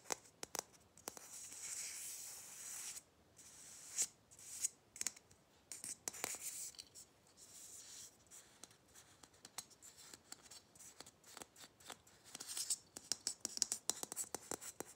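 A small, hollow, red matte Christmas ball ornament with a metal cap, likely plastic, is held in the hands and scratched and tapped with fingernails. Quiet, dry, high-pitched scratching rasps alternate with sharp, clicky taps that stop at once without ringing.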